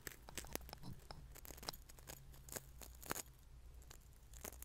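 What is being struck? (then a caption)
Coarse salt grains in a small glass bowl. Fingertips pinch and rub coarse salt grains in a small glass bowl placed close to the microphone. The result is a quiet, crackly, granular crunching, with sharp bright crackles scattered over a steady low background hum.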